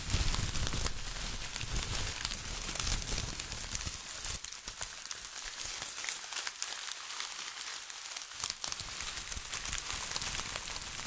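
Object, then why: Foil-plastic tinsel garland. A bunch of silver foil-plastic tinsel garland is squeezed and crinkled by fingertips close to the mic. The result is a dense, bright crackling rustle with some low rumble early on that thins out midway.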